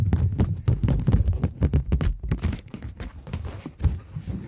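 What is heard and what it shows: Long nails tap and scratch the face of a flat polymer plastic £20 note held in both hands. The result is a rapid, irregular run of short, dry, muffled taps with soft scratchy rustle between them. Most of the sound sits in a low thump, with little high brightness.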